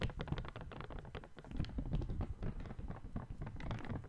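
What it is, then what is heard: Folded paper sheet being crinkled. A small folded white paper sheet is squeezed and crinkled by the fingertips of one hand close to the microphone. The result is a soft, continuous run of crisp rustles and quick, dull taps, with most of the energy low and little brightness on top.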